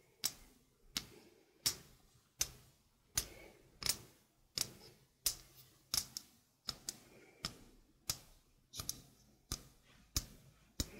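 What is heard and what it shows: A stainless steel mesh sink strainer is held close to the mic while fingernails tap its mesh and rim. Bright, sharp metallic clicks repeat steadily, about one every 0.7 seconds, each with a very short tinny ring and only faint low-end body.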